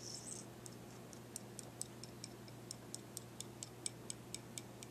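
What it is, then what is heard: Deer antler tapped. A wooden toothpick scratches and then taps the surface of a pale, smooth, solid deer antler dog chew with a forked end, held in the hand. A brief, bright scrape gives way to a steady series of quiet, sharp, high clicks that die away at once, over a faint low hum.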